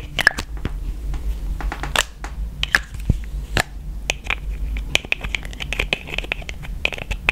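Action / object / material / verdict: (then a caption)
tap / plastic cosmetic tube with plastic cap / plastic / none. Long nails tap rapidly on a yellow plastic cosmetic tube and its black plastic cap, held in one hand. The result is a quick, irregular series of sharp, dry clicks with a hollow, light plastic tone and almost no ring, over a steady low hum.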